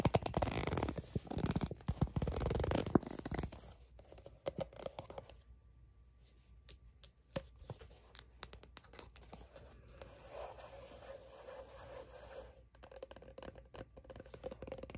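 A soft plastic sunscreen squeeze tube, apparently filled, is rubbed and scratched with long nails and fingertips. Dense, loud scratching and rubbing fill the first few seconds, then give way to quieter, scattered light scrapes and soft ticks over a faint low hum.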